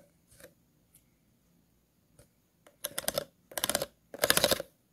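The tip of a scissors blade scratches across the grooves of an empty, hollow, clear plastic water bottle. A few faint, light ticks come first, followed by three longer, louder bursts of rapid, bright, rasping scratches that grow stronger each time.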